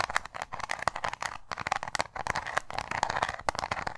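A small round metal tin with an embossed lid is tapped and scratched with long nails. Quick, bright clicking taps come in dense bursts, mixed with a dry, crackly scratching rasp.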